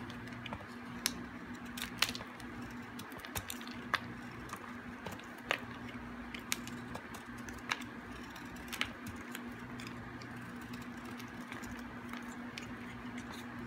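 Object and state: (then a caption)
Hard, dry bar soap being shaved. A metal blade shaves the edges of a hard, dry, solid piece of green bar soap. Faint crackly scraping is punctuated by short, sharp, bright clicks as flakes break off, over a steady low hum. The level stays quiet throughout.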